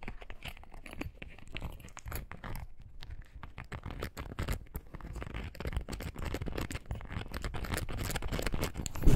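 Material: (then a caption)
Foam rubber. A small light-blue foam rubber clog shoe is held in the hands while long nails quickly scratch and tap its sole and upper. The result is a dense run of short, dull, low taps mixed with fast scratching that grows slightly louder toward the end.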